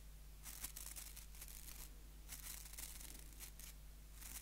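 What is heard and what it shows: Fingers scratch the white plastic bristles of a small, solid wooden nail brush held close to the mic. Repeated bursts of bright, crackly scratching rise over a steady low hum, each stopping short with almost no ring.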